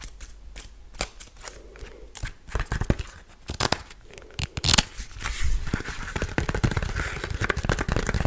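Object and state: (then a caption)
Paper notepad. Long blue-painted nails tap and scratch a small rectangular paper memo pad, a solid stack printed "Don't bug me" with leaf and bug designs, held up in both hands. Dry, sharp clicks and taps are followed by a denser, brighter scratching rustle that grows steadier toward the end.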